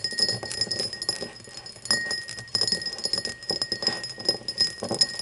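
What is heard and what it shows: An empty cut-crystal glass tumbler, first standing upright and then turned with its mouth facing forward, is tapped and scratched with long nails. Quick, bright clinks and ticks ring briefly around a high glassy tone over soft scraping.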